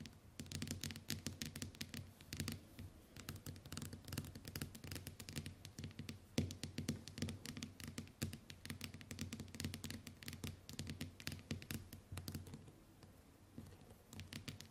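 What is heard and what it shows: Long white nails tap rapidly on the glass screen of a small, flat smartphone lying face up on a table. The result is a dense stream of short, bright clicking taps that die away almost at once, over a steady low hum.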